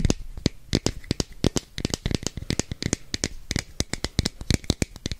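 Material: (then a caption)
Plastic. Long nails tap rapidly on a hand-sized, hollow red and orange plastic capsule container, making about 30 quick, dry clicks. Each tap has a bright, sharp edge and a short low thump from the hollow body. The taps stop instantly with no ring, in an uneven rattling rhythm.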